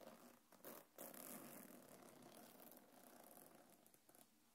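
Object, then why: Quilted faux-leather bag with metal chain. A small black quilted faux-leather belt bag with a gold metal chain strap, held on a lap, is scratched and tapped by long painted nails across the leather and the chain near the zipper. The result is a steady, dense scratchy rustle with brighter crinkly bursts, centered on a mid tone around 560 Hz, and with light taps mixed in.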